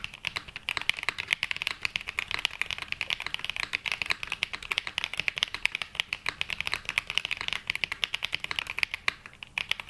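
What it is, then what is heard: Mechanical keyboard with ABS plastic keycaps. A black Glacier 80 80% mechanical keyboard with London Fog switches and navy and mint ABS plastic keycaps, resting on a felt mat, is typed on quickly with the fingertips of both hands (pink nails). A dense, steady stream of short, bright clacks follows, each one dying out at once with almost no low end.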